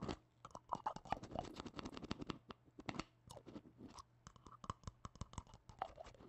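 Black-gloved fingertips scratch and tap a small, hollow red plastic tub with a lid. Quiet, rapid, dry clicks and scratchy rustles come with a faint hollow tone around 800 Hz and a low steady hum underneath. Each tap dies away almost instantly.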